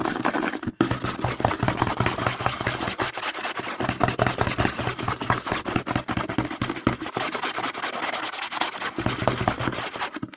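Fingertips rapidly scratch and tap the label and edge of a white plastic CeraVe lotion pump bottle held upside down. The result is a dense, continuous stream of quick, crisp taps and rough scratching with a bright, crackly texture and a brief pause near the start.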